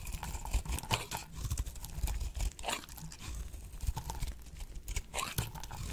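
A blade slices a solid, dry, oval pink bar of soap held in the hand into brittle chips. Quick, crisp crunching and crackling scrapes come in a steady run of short bursts with bright edges over a low, dull rumble.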